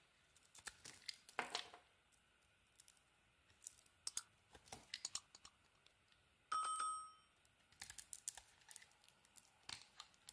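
A teal and cream bar of soap is scraped and carved with a utility knife blade. Around thirty quiet, crisp scraping clicks and short shaving strokes sound one after another, with one longer rasping scrape early on. Midway, a brief clear ringing tone sounds and fades out.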